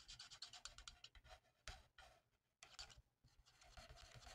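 A felt-tip marker held by hand colors in a mandala on a thin, flat paper coloring sheet, making quiet, bright scratchy rubbing strokes. Quick back-and-forth strokes come in bursts, with brief pauses between passes.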